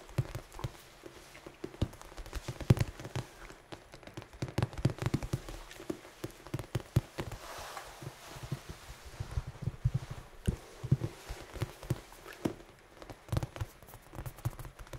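A large red foam die is held up and tapped and scratched with fingertips and nails. The result is a long run of soft, dull, low taps with quick rustling scratches between them. The hits come in irregular clusters with almost no ring.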